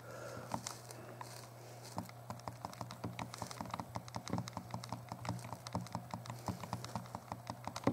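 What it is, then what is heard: Plastic handheld game console buttons. A small, hollow translucent purple plastic Game Boy Color is held in both hands while the thumbs press and click its buttons. Rapid, dense plastic clicks and taps patter over a steady low hum. The clicks are short and sharp and fire in quick irregular bursts throughout.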